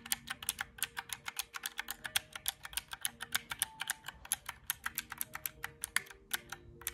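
Fingertips tap rapidly on the round black keys of a small mint-green plastic calculator, making about 45 quick, bright, clacky clicks with very short decay. The presses come in an uneven, typing-like rhythm over a faint, steady background hum.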